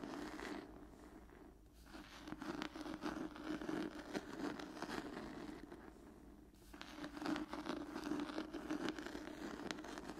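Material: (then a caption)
Cloth. Long nails scratch across the textured cloth cover of an old hardcover book, making a dense, rapid, dry rasping with a mid-range body and some brighter grit. The scratching swells into two louder stretches separated by softer, quieter passes.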